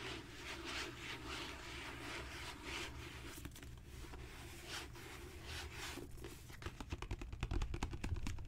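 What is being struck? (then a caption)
Leather-bound book cover. Fingertips and long natural nails tap and scrape across a solid, dark brown genuine leather book cover with raised spine bands. Soft, brushy scratching fills the first half, then it turns into quicker, sharper clicking taps in the last couple of seconds. A steady low background rumble runs underneath throughout.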